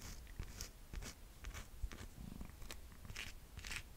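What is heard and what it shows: Long nails scratch and rub the thick cork-style footbed sole and edge of a rose gold sandal turned on its side. Quiet, dry scratchy rasps come in short bright bursts over a soft low rumble, each stroke stopping almost at once with no ring.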